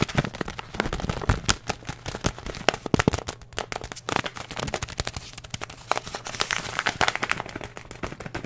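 A filled paper and plastic oat flakes bag is held up, crinkled, squeezed and scratched with the fingertips. It makes a dense, continuous stream of sharp, bright crackles and rustles with very short decay, over a faint, steady low hum.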